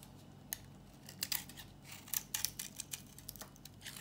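An old, dry, solid tan-brown bar of soap held in the hand is shaved with a metal box-cutter blade into brittle chips. Quick, bright, crisp scraping snaps and crackles come in irregular bursts, each dying away almost instantly. A faint low hum runs steadily underneath.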